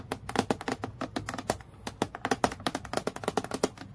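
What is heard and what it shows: Long nails tap quickly close to the clip area of a transparent, clear acrylic plastic clipboard lying flat. About 28 sharp, dry clicks come in an uneven rapid flurry, with a hollow plastic tone near 700 Hz and a bright edge. Each tap dies away almost instantly.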